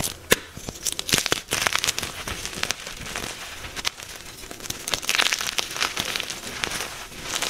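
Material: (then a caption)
Magnesium carbonate. A soft, solid white magnesium carbonate gym chalk block is held in chalky hands and crushed with the thumbs into crumbly chunks and powder. Dense, bright, dry crunching and crackling is heard, with sharp little snaps over a steady gritty crumble and almost no low end. The pieces break apart with no ring.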